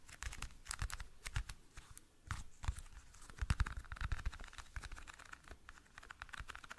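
A small, hollow, clear plastic toothpick case is tapped and scratched with fingernails. It makes a dense run of quick, dry clicks and taps mixed with crinkly scratching, each with a short low thump and a bright clicky edge that dies away at once.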